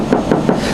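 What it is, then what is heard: Steel car body panel. A spot on a Tesla body that is steel, one of three metals in that area, is tapped for comparison with the aluminum knocked just before. It gives short, dull knocks with a low-mid tone and almost no bright ring, fading quickly.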